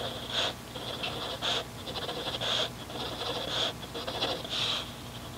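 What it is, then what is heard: Pencil scratching on grid paper. A mechanical pencil scratches dotted guide marks and strokes onto a grid paper notebook resting on a desk. Bright, dry scraping bursts repeat at an uneven rhythm, with a sharp scratchy tone around 3.3 kHz and little low end. Short, soft strokes fill the gaps between the louder ones.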